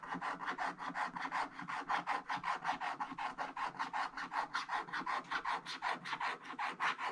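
A wooden stick scratches the black wax coating off a scratch-art page in a hardcover book lying flat, with one hand holding the page, in short repeated strokes that reveal the blue layer beneath. About 34 quick, dry rasping scrapes follow one another in a steady rhythm, centered in the midrange with a bright hiss on top.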